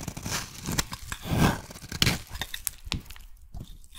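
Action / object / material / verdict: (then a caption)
scrape / bar of soap cut with a metal blade / soap / none. A metal blade shaves a solid yellow soap bar, producing crisp, crunchy scraping and tearing sounds with bright, sharp clicks. The bar is then handled with the fingers of both hands, giving softer rustling and crumbly crackles between the cuts.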